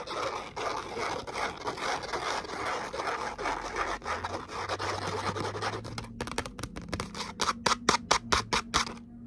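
Long nails scratch across a thin gold glitter cardstock letter "O" with punched holes, making a dense, rhythmic, bright scraping for about six seconds. The sound then changes to a run of sharp, separate taps on the cardstock, with a faint low hum underneath.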